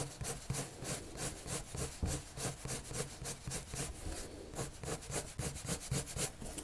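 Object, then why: Colored pencil on a paper sheet. A colored pencil tip is dragged across a white paper sheet resting on a table in repeated drawing strokes. About a dozen quick, bright, scratchy rubbing bursts come in an uneven rhythm, each with a soft low thud underneath.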